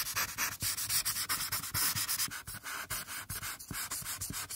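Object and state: Paper coloring page.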